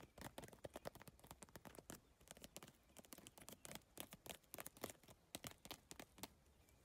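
Long nails tap fast across the iridescent triangular plastic tiles of a holographic geometric PVC tile bag. They make a rapid, uneven patter of sharp, dry clicks with bright, crisp tops and almost no ring.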